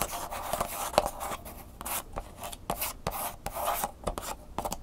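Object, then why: Plastic blister pack with cardboard insert. Fingernails scratch and rub across the back and the sticker of a clear plastic blister pack with a cardboard insert. Dry, rasping strokes with bright hiss run in quick bursts, broken by sharp little clicks and a crinkly midrange tone. Each scrape stops dead, with no ring after it.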